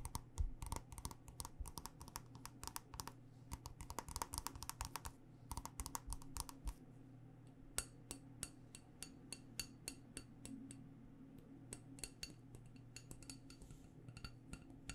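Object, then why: Wax-filled glass candle jar. Long nails tap the bottom and sides of a black glass candle jar filled with wax. Rapid, crisp clicks with a bright edge die away almost instantly, coming in dense bursts for the first several seconds and then more sparsely. A steady low hum runs underneath throughout.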